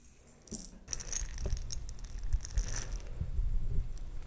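A jar filled with small plastic perler beads is shaken and handled. After a quiet moment, a bright, dense rattle of beads starts and continues steadily, with a soft low rumble underneath.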